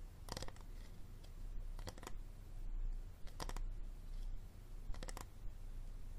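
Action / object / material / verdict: tap / hard plastic water bottle / plastic / none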